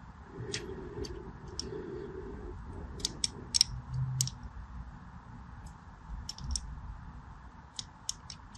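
A small black blade scores crosshatch lines into a solid purple and white striped bar of soap held in the hand. Each cut gives a short, crisp, bright scratching click that stops almost instantly, spaced irregularly over a steady low rumble and faint hiss.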